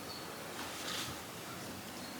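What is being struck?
Nothing is struck.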